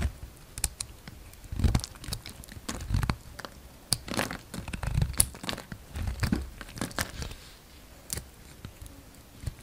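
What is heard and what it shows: A hand-sized solid white bar of soap with a brown outer layer, held in the palm, is shaved into curls with a steel utility-knife blade. A steady series of short, dry, crackly scraping and tearing strokes is heard, with low thuds and brief bright edges, each stopping abruptly.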